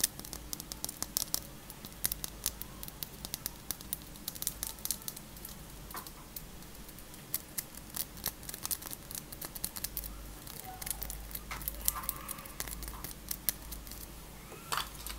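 A small, solid pink plastic My Little Pony figure of Pinkie Pie with molded hair is held in the fingers and tapped and scratched with long pink acrylic nails. Quiet, rapid, bright clicks and scratchy taps patter continuously over a faint low hum, each click dying away almost instantly.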